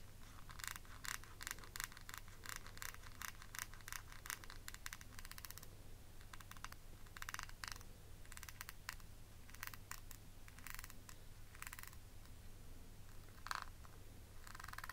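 Long nails tap and scratch the lid of a small, rectangular, hollow, clear faceted plastic eyeshadow palette case with a beaded border, held in the hand. The result is quiet, rapid, bright plastic clicks and short raspy scratches that come in clustered bursts over a steady low hum.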